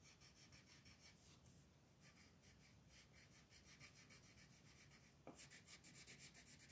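A purple colored pencil rubs across a flat paper coloring book page resting on a table, shading in the lettering with steady back-and-forth strokes. Each stroke gives a soft, dry, bright scratching rasp in a quick, uneven rhythm. Just past five seconds the strokes turn louder and brighter.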